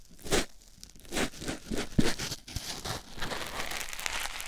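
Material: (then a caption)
Foam. A white foam sponge block held in the fingers is rubbed over a silicone ear microphone. It makes close, scratchy rustling and crinkling strokes with bright hiss and a soft low thump beneath. The strokes come in uneven bursts that run together into a steady rubbing texture by the end.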